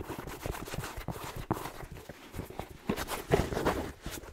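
A red plaid fleece-lined slipper with a black rubber sole is held sideways while fingertips rub and scratch along the sole and side. The result is a steady, soft, dull scratching texture broken by a few sparse, muted taps.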